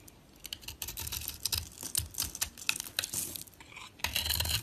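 A box-cutter blade shaves the purple, pink-dotted paint off a solid oval bar of dry soap held in the fingers, exposing the white soap underneath. A dense run of crisp, bright scraping and crackling bursts follows, with short dry strokes that stop almost instantly, and it grows louder near the end.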